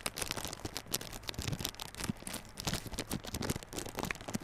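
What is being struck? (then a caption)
Small cardboard box in plastic shrink wrap. Fingertips scratch and tap the clear plastic shrink wrap over the front face of a small yellow cardboard Realme Buds Classic earphone box. The result is a quiet, continuous run of crinkly, bright scratching, dotted with short, dry taps and soft low thumps that die away almost instantly.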